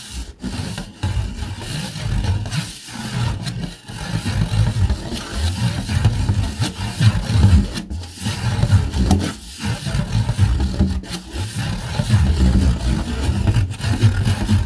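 Fingernails scratch the textured underside of a red rigid plastic plate, making a continuous, low, rumbling scrape. The scraping comes in steady strokes, broken by brief short gaps across the clip.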